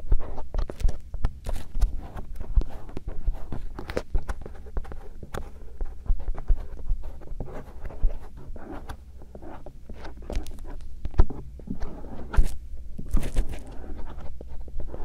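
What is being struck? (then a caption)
Silicone ear shell of a binaural microphone. A thin bamboo earpick, held in fingers with long painted nails, gently scratches and rubs the outer folds of two soft silicone ear shells on a binaural microphone. The result is a steady stream of soft, close scratching and rubbing, broken by many quick, crisp scrapes and brief brighter swishes. It has a low, muffled rumble underneath and no voice.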